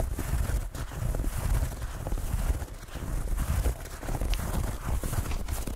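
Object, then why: Foam bath pillow with bumpy plastic surface. Fingertips tap and scratch the bumpy textured plastic-foam surface of a soft, padded white rectangular bathtub pillow. The result is a steady run of dull, muffled low thumps mixed with faint scratchy rustling, with almost no bright content.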